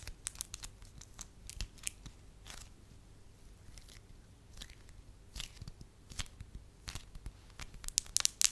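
A solid beige piece of wax is held in the fingers, scratched with long nails and flattened into a soft sheet. Short, bright crackles and tearing scrapes come in scattered bursts over a quiet background, growing denser and louder toward the end.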